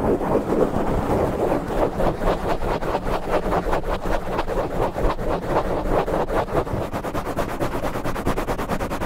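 Fingertips of both hands scratch fast and aggressively at the sides of a black foam microphone windscreen. The result is a steady, close, muffled scratching and rustling with a heavy low rumble, and the strokes become more evenly paced and rhythmic toward the end.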